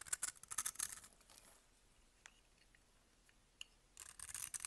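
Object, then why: Glycerin soap bar scraped with a metal blade. A metal blade scrapes grid-cut pieces off a solid amber glycerin bar of soap held in the hand, making bright, crisp scraping and crackling bursts. The scraping fades into a quiet stretch broken by a couple of faint ticks, then resumes in a dense, bright flurry at the end.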